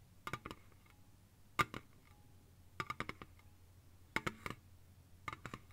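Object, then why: Aluminium drink can. Long fingernails tap quickly on a slim, hollow Lipton green ice tea aluminium can lying on its side on a soft blanket. Five short bursts of light, clicky metallic taps have a tinny ring around 1.2 kHz and bright edges. Each tap dies away almost instantly over a quiet, low background hum.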